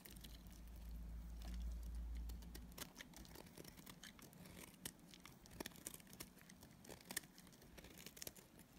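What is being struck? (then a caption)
Bar of soap shaved with a blade. A utility knife blade shaves flakes off a solid pink and purple striped dried soap bar held in the hand. A low hum fills the first few seconds, then quick, crisp scraping and crackling ticks repeat at a fast, uneven pace, each one short and dry.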